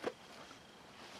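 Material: Nothing is struck.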